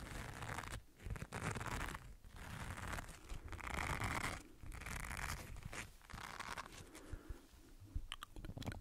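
An oval green silicone body scrubber with bristles is rubbed and scratched with the fingertips close to the microphone. The result is a dense, scratchy, crunchy rustle that comes in sustained passes separated by brief pauses. Near the end it turns into sharper, brighter crackles.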